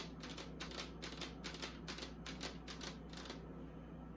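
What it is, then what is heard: Plastic mini fridge tapped with fingernails. Long acrylic nails tap quickly on the inside of a small, empty, hollow pink plastic mini beauty fridge with its door open, then tap and scratch the outer side of its casing. The result is a quiet run of crisp, bright, clicky taps over a steady low hum, with the taps thinning out toward the end.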